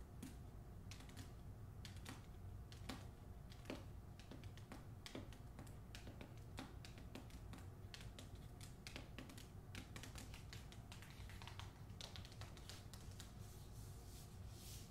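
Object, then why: Paper-jacketed hardcover book. Long acrylic nails tap and scratch the front cover of the hardcover novel "Olga Dies Dreaming," which is closed, solid and held upright in its glossy paper dust jacket. Quiet, rapid, crisp clicking taps with bright, papery edges run steadily throughout over a constant low hum.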